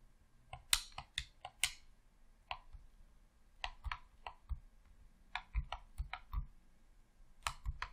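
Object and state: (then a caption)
Plastic game controller. Thumbs press the thumbstick and buttons of a hollow red plastic Xbox controller, producing a series of short, sharp clicks. Each click is bright and dry with a faint low thump, dying away almost at once, with uneven pauses between them.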